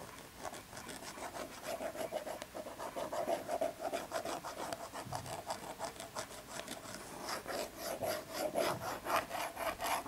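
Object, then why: Small cardboard tea box. Long red nails scratch and rub along the front and edge of a small, hollow, printed cardboard tea box with an embossed foil pattern, held in the hand. A steady run of quiet, raspy scratching strokes follows at roughly two per second, with a dry mid-pitched tone around 680 Hz and bright high hiss, and little low end.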